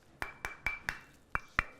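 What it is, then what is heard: Solid brick. Six sharp knocks on a solid, heavy brick, each a short, dry, woody click with a bright tone near 2 kHz that dies away almost instantly. The five evenly spaced hits are followed by a short pause before the sixth, loudest knock.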